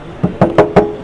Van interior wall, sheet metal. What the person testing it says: ça sonne la ferraille, donc c'est pas isolé